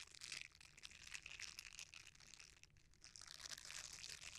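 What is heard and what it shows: A red silicone bristle scrubber is rolled, then cupped and squeezed in both hands. It makes a dense, bright crinkling and crackling that is quiet, almost all high-pitched, with little low end. The sound eases briefly just before the three-second mark, then picks up again.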